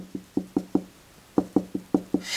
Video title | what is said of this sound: Protect Yourself Against Carbon Monoxide in Your Home | that is a real hollow ring to it so we know that we're good to go